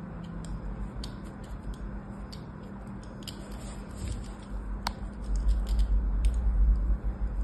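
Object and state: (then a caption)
Bar soap being scored with a knife. A small craft knife scores diagonal lines into the surface of a solid white-cream rectangular bar of soap, held by a hand with long orange nails on a blue mat. Soft, crisp scratching and sharp little clicking cuts repeat over a steady low hum, with a deeper rumble growing louder toward the end.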